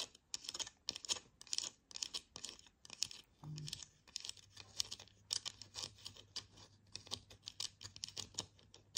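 A slotted bamboo spatula of solid wood, held in both hands, is tapped and scratched with long painted nails. Quick, dry, bright clicks come in irregular bursts with no ring, broken near the middle by a short scratching rub. A faint low hum sits underneath from about four seconds on.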